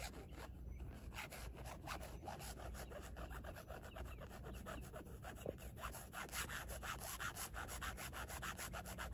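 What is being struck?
Carbon fiber plate scratched with fingernails.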